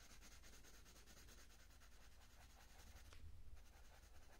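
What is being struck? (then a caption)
Wooden coloured pencil on a paper page. A purple wooden coloured pencil is rubbed back and forth over a thin printed page of an open colouring book lying flat, shading a petunia petal. A soft, steady, scratchy rubbing runs through the clip in quick repeated strokes over a low background rumble, and it grows slightly louder near the end.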